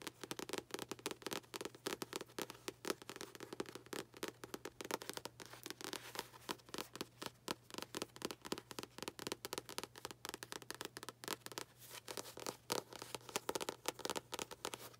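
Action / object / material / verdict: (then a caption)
tap / paperback book with paper cover / paper / none. Long acrylic nails tap rapidly and continuously on the front cover of a solid paperback book with a paper cover. The quiet, dry clicks stop almost instantly, with a woody midrange body and a bright edge. A faint steady low hum runs underneath throughout.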